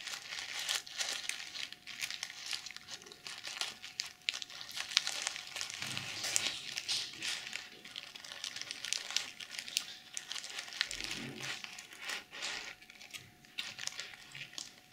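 Long nails scratch and brush across a small hollow pouch covered in pink reversible plastic sequins. The result is a steady, bright crinkling rasp of dense clicks and scrapes with almost no low end.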